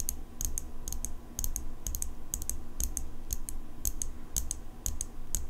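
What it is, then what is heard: Steel folding pocket knife. Long fingernails tap the blade of an open steel folding pocket knife held close to the microphone. The result is a rapid, uneven run of sharp, bright metallic clicks that ring briefly, over a steady low rumble.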